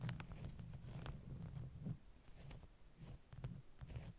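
Long nails tap and scratch the top sheets of a stack of flat beeswax-coated cotton wraps. The result is a quiet, dull patter of soft taps over a low, continuous scratching rustle, with a few brief high clicks.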